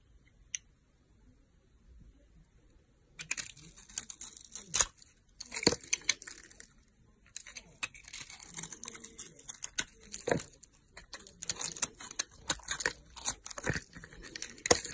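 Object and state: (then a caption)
Glitter-coated soap bar. A solid rectangular red soap bar with a glitter coating, held in a hand with long nails, is shaved across its coated surface by a utility knife blade. After about three seconds of near silence with a single faint tick, bright, crisp scraping and crackling begins, with sharp snapping peaks. It pauses briefly around seven seconds, then resumes in dense bursts through to the end.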